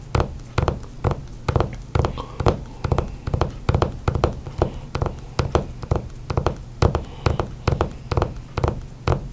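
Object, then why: Hardcover book with glossy cover. Fingertips and nails drum on a flat hardcover book with a glossy cover lying on a table, making quick taps and knocks. The hits are dull, low-pitched thuds that die away almost at once. They come in uneven bursts through the whole clip.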